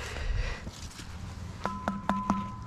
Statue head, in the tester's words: si tu veux te casser les doigts tu peux ça sonne creux